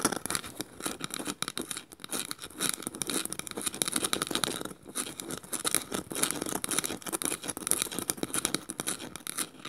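A small, light, hollow woven bamboo bowl is held upside down while its woven strips are scratched and picked at with long nails. The result is a quiet, continuous stream of dry, rapid scratching and ticking with a bright, high-pitched rasp and little low end.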